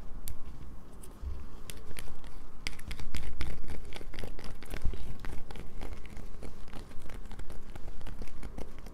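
Long nails scratch a solid, partly carved light-blue bar of soap held over a paper towel. The result is a dense, irregular run of dry scratchy crackles and bright, sharp ticks over a faint low rumble, growing slightly louder after the first second.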